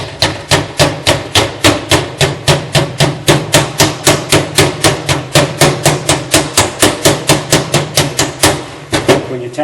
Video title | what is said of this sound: Replace Rear Backing Plate 2008-2017 Ford F350 | you tap it in, you can hear the change in the sound, so you know you're in all the way.